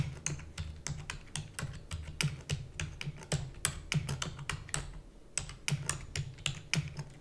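Long nails and fingertips type rapidly on the plastic keys of a black plastic computer keyboard, making about 27 sharp, bright clicks in an uneven rhythm with a brief lull near the five-second mark. A steady low hum runs underneath the clacking throughout.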